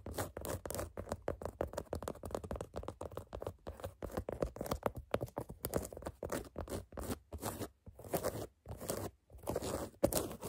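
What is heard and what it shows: Long fingernails scratch and tap the black canvas side panel of a sneaker, making a steady run of dry, rapid scratching and crunchy taps. The sound is close and quiet, with short bursts that stop dead and leave brief gaps of silence, and a louder tap comes near the end.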